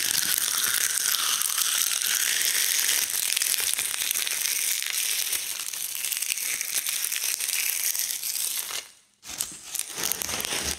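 Gloved hands press, crush and crumple a pile of giant dried linden leaves on a wooden slab, breaking them into small brittle fragments. A dense, bright, continuous crackling and crinkling runs throughout, with almost no low end, briefly dropping to near silence just before the 9-second mark before the crunching resumes.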